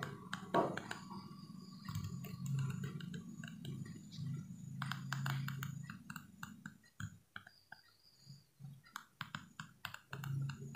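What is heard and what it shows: A small, solid yellow plastic hair comb is held upright near the edge of a table while fingertips and nails flick across its teeth. The result is a quick series of sharp, dry plastic clicks and ticks over a steady low hum. The flicking pauses briefly in the middle and then resumes in quieter, scattered bursts.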